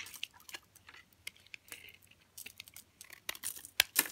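A blue utility knife blade shaves and cuts flakes off the edge of a solid, hand-sized rectangular bar of hard green Dalan olive oil soap held in one hand. A quick series of crisp, bright scraping and cutting strokes rises to louder, sharper snaps near the end.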